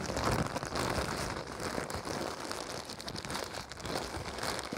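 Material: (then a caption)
Plastic. Fingers crumple, unfold and crinkle thin, clear-white printed plastic packaging. A dense, continuous crackling and crinkling runs through the whole clip at a steady level, with bright, hissy texture and irregular sharper snaps.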